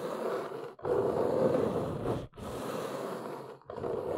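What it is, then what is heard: Cardboard box. Long nails scratch and tap along the front edge and corners of a large, hollow, brown corrugated cardboard box. A dry, rasping scrape centered in the low mids comes in steady passages broken by brief pauses, with little deep bass.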